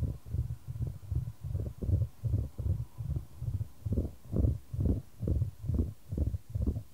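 A solid, light wooden ball rolls around a shallow square wooden tray held in white-gloved hands, with the tray tilted to keep it moving. It makes a soft, low, hollow rumble that swells and fades in a steady train of short rolling bursts, a little over two per second, each dying away quickly. There is almost no high or bright content.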